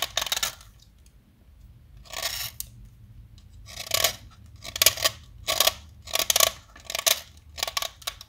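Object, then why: Chalk stick carved with a metal blade. A small solid yellow chalk stick held in the fingers is carved with a metal utility knife blade, sending yellow crumbs falling. Short, bright, gritty scraping strokes come in bursts separated by near-silent pauses, with almost no low end and no ringing after each cut.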